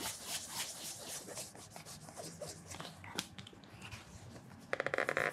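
A cloth wrapped around the fingers rubs and polishes the leather toe cap of a black leather penny loafer fitted with a wooden shoe tree and resting on a counter. Soft, rhythmic swishing strokes brush across the leather, with a few sharper bright scuffs. It ends in a quick run of squeaky, buzzing pulses as the cloth grips the polished surface.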